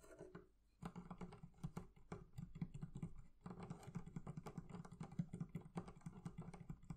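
Fingertips tap rapidly on the leather covering of a barrel chest, making a dense run of soft, dull, low thuds with almost no ring. The tapping pauses briefly near the start and again midway, then carries on steadily to the end.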